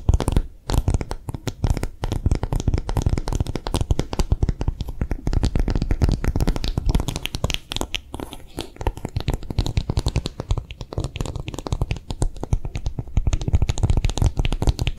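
An empty, hollow pink silicone phone case with a bumpy piggy pattern is held in both hands and tapped fast with long nails. The result is a steady, dense stream of quick, dull, low-heavy taps that stop short with no ring, running for the whole fifteen seconds with only a slight dip around the middle.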